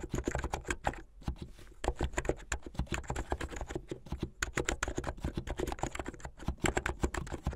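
Fingertips with medium-length painted nails type fast on a plastic mechanical keyboard with white and blue plastic keycaps. A rapid, steady stream of short, sharp clacks with a deep, thumpy body is heard, with brief pauses near one second and just past four seconds.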